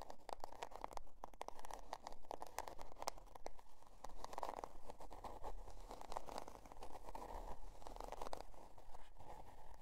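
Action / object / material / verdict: scrape / cardboard notebook cover / cardboard / none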